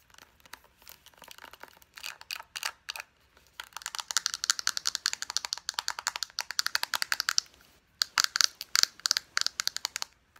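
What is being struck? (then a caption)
Plastic lotion squeeze tube. Long nails tap rapidly on a small plastic lotion squeeze tube with a white flat cap, striking both the cap end and the tube body. About fifty crisp, dry clicks come in quick bursts, with a short pause near the eighth second. The bright, thin taps die away almost instantly, with no low-end body.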